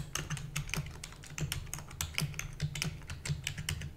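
Both hands type rapidly with long nails and fingertips on a full-size black plastic computer keyboard with hollow keys. The result is a fast, uneven stream of short clicks and clacks, each a bright tap over a hollow low thump that dies away almost at once.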